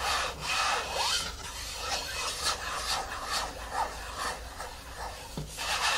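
A medium yellow plastic hair-mask jar with a screw lid, resting on a wooden table, is slowly scratched and rubbed across the lid top with long fingernails, with a few taps. The sound is a bright, airy scratching rasp in uneven strokes, with little low end and no ring.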